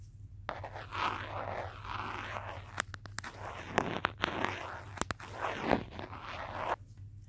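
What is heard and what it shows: Fingertips and nails tap and trace across the back of a teal hard plastic case on a handheld smartphone, which is also recording. Soft, scratchy swishing strokes rise and fall, broken by sharp, brief clicky taps, over a faint low hum.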